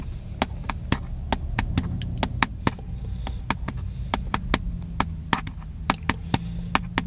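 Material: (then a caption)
Plastic. A small, hollow, black plastic handheld camcorder is held in both hands and tapped with the fingertips. The result is a steady, irregular series of short, sharp, dry clicks over a constant low hum.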